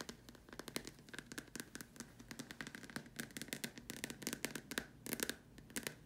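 Long dark nails tap rapidly on the upper curved surface of a large hollow white plastic dome lamp shade. Quick bursts of sharp, bright clicks with very short decay carry a faint hollow plastic ring under each tap, in uneven clusters throughout.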